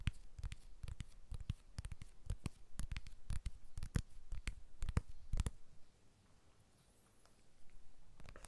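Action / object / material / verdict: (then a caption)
tap / glass and aluminium smartphone / glass, aluminium / none. Fingertips and short nails tap the back and edges of a small blue glass-and-aluminium iPhone 12 held in both hands above a Tascam recorder. The taps come in quick, irregular clusters of short, dull knocks, each with a brief bright click. After a quiet pause, softer tapping resumes as the phone is lowered close to the mics.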